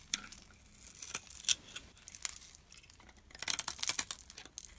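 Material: Soap.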